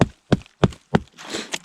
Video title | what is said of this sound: Trees to lumber I Making Raised beds with an Alaskan Chainsaw Mill I Survival Garden Part III | he's basically just hollow in the middle